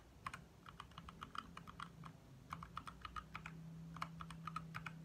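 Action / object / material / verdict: tap / plastic mechanical keyboard / plastic / none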